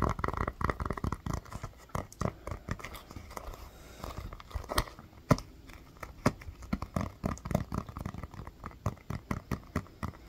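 A small, hollow orange rubber mini basketball is tapped and scratched with fingernails and fingertips. The taps come as a steady run of short, dull thumps that die away almost instantly, with soft scratchy rasps in between and very little brightness.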